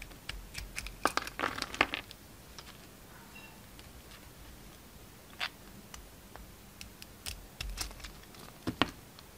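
A utility knife scrapes and cuts a hand-sized, solid lilac bar of soap with a purple glitter rim, held in the hand. Short, crisp, crackling scrapes and crunchy cuts come in bursts with bright high edges, separated by quiet stretches.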